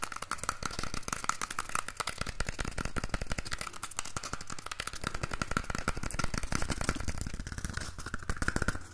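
Fingernails tap and scratch the outer surface of a single empty, hollow cardboard toilet roll tube held upright in one hand. The result is a fast, steady stream of short, dry, hollow taps with a dull low thump and a faint scratchy rasp running throughout.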